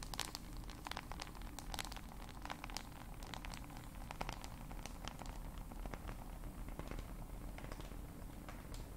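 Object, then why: Glass and plastic smartphone. Long acrylic nails tap rapidly on the glass screen of a black glass-and-plastic smartphone held horizontally. The taps are quick, sharp, dry clicks with bright ticks, each dying away almost at once. They form a dense, crinkly patter over a constant low background hum.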